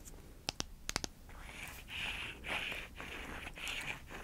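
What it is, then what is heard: Wooden block. A small, solid, light-wood rectangular block, a wooden makeup prop held in one hand, is tapped five times with long acrylic nails, giving short, sharp, dry clicks. The nails then scratch across the wood in several swelling strokes, making a steady, bright rasping sound that continues to the end.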